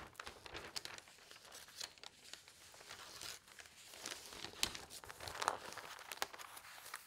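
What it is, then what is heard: Newsprint newspaper pages rustling. Fingertips with long nails lift, turn and smooth the thin newsprint pages of a large broadsheet newspaper lying open on a table. The result is a quiet, bright, crinkly rustle with irregular sharp crackles and very little low end.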